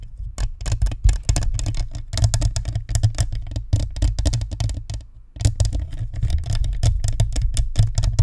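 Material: Plastic, metal.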